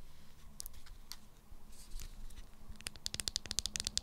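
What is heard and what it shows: Long acrylic nails tap a small, hollow, unwrapped Sanex roll-on deodorant bottle with a clear plastic body and pink plastic cap, giving a rattly sound. Soft scratchy contact first, then a quick, uneven run of sharp, bright plastic clicks that die away almost instantly over a faint low hum.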